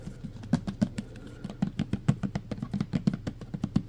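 Fingernails quickly tap and scratch the side and label of a full clear plastic pump bottle of green hand sanitizer gel. About 25 short, dry taps land in a fast, uneven rhythm, each with a hollow low thud near 200 Hz and a crisp bright click that stops almost instantly. A soft, steady low hum sits underneath.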